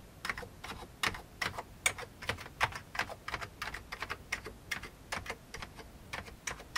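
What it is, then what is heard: Old plastic computer keyboard. An index finger taps individual keys on an old beige plastic computer keyboard, one at a time. Each press gives a short, dry, bright plastic click that stops almost instantly, forming an uneven run of separate clacks over quiet background hiss.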